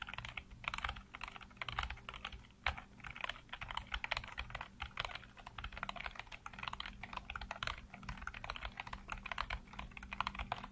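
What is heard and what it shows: Fingertips type rapidly across a full-size black plastic computer keyboard with hollow keycaps, heard close up. A dense, steady stream of bright, hollow plastic clacks with short, dry decays runs throughout, over a faint low hum.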